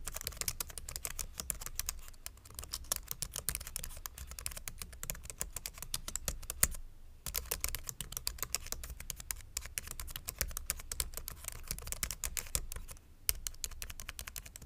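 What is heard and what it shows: Fingertips type steadily on a white plastic full-size mechanical keyboard resting on a wooden board. Dense, rapid clicky keystrokes with bright, sharp attacks run continuously, broken by two brief pauses, over a low steady hum.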